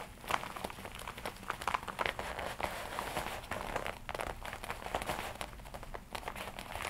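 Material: Leather.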